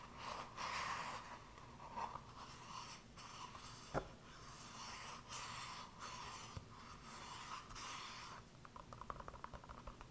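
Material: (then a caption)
Silicone. A small, hollow, empty green silicone cup with star and planet cut-outs is held in both hands and scratched and tapped with fingertips and nails. For about eight seconds, soft, bright scratching and rubbing swells and fades in bursts, with one sharp click near the middle. It ends in a quick run of light, dull taps.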